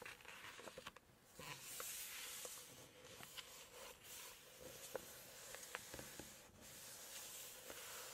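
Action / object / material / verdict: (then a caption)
tap / glossy paper page of a hardcover book / glossy paper / none. Long acrylic nails tap and scratch the glossy paper pages of a large hardcover cookbook lying open to text and photos. Soft, bright scratching hiss runs throughout, broken by short, sharp clicks from the nail taps.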